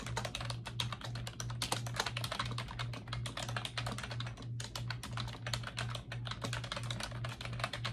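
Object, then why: Plastic computer keyboard. Fingertips with long acrylic nails type steadily on a pink plastic computer keyboard with round backlit keycaps resting on a desk. Each keystroke gives a quick, bright clicky tap with a hard nail edge, in an uneven, continuous rhythm over a steady low hum.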